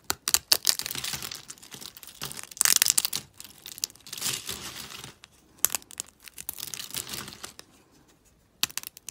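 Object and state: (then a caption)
Dry, brittle soap flakes. Fingers with long pink nails snap and crumble a pile of thin, brittle, dry soap flakes in pastel pink, blue and green. The sound is a close, dry, high crackle of quick snaps and crunches in bursts, with brief quiet gaps between handfuls.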